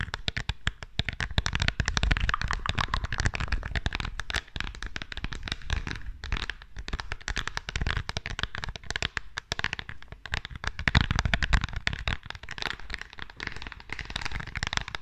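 Long nails rapidly tap and scratch the rhinestones of a small green rhinestone-studded perfume bottle with a metal frame, held close to the microphone. A dense, steady stream of quick clicks and crackling scratches runs throughout, with bright, sharp ticks over a heavy low thumping from the close handling.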